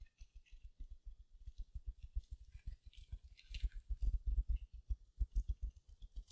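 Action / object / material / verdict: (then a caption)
scrape / mesh-wrapped foam sponge / foam, mesh / none. Long nails scratch the surface of a small silver glitter mesh-covered foam sponge held beside the mic. The result is a quiet, rapid run of soft, muffled scratching taps with low thumps, plus a faint bright crinkly rasp. The taps thicken and grow louder midway through.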